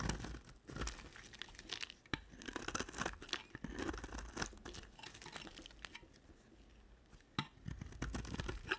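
A utility knife blade shaves a solid cream-white bar of soap with a red edge, held with long black nails. Dense, dry scraping and crumbly tearing sounds run throughout, with sharp short crunches and a bright crinkly texture. The soap sheds in quick, closely spaced cuts that rise and fall in loudness.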